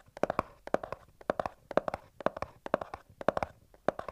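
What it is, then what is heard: Cardboard box tapped. Fingertips and nails of both hands tap and scratch along the top edge of a small white cardboard earbuds box held upright. About 21 quick, dry taps fall in short rhythmic clusters of three or four, each with a hollow papery tone around 600 Hz and almost no ring.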